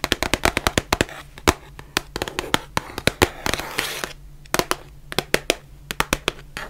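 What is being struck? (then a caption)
Cardboard face mask box. Long nails tap and scratch the sides of a small, white, printed cardboard box of surgical masks, which is hollow and likely partly full. Quick, dry, sharp taps come in rapid bursts, with brief bright scratching passages between them. A faint steady low hum runs underneath throughout.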